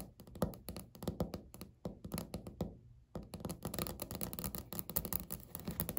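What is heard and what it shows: Natural fingernails quickly tap and scratch on a solid, flat, speckled beige laminate countertop. Dry, short thunks and clicks come in rapid bursts, pause briefly around the midpoint, then return as denser, continuous tapping and scratching. Each hit dies away almost instantly, with no ring.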